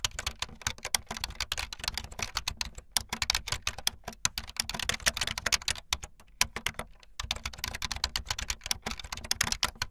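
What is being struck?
Plastic membrane keyboard.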